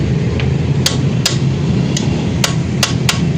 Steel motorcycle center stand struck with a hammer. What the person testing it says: hindi ito nag-stack up. Iba ang tunog pag naka-stack up.